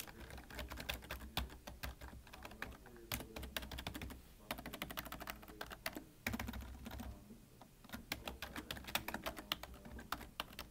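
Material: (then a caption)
Plastic. Both hands type with their fingertips on a full-size black plastic computer keyboard with a hollow body, producing a steady stream of short, bright clicking keystrokes with a low thump underneath. A faint trace of music sits in the background.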